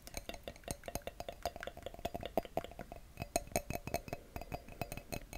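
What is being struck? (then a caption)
Thin glass wine glass bowl. Fingertips and nails tap and scratch the bowl of an empty, thin, clear wine glass near its logo. Rapid, irregular light clinks and ticks each carry a faint glassy ring around 660 Hz. Soft scraping and bright glassy overtones sit between the taps.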